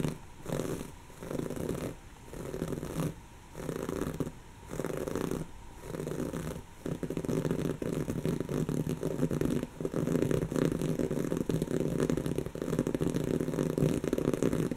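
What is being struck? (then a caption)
Woven fabric cushion. Long natural fingernails scratch a soft, stuffed, brown textured woven-fabric cushion, making a raspy, muffled scratching concentrated in the low and mid range. For the first few seconds the scratches come in separate rhythmic strokes with short pauses. They then merge into a continuous, denser scratching that runs to the end.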